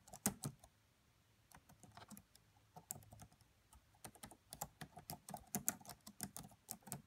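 Fingertips with long nails type on the black plastic keys of a red laptop. Soft, quick clicking taps with a bright edge start in a brief burst, fall quiet for a moment, then resume in a steady, rapid run of key taps. The sound is quiet and close, with each tap dying away almost instantly.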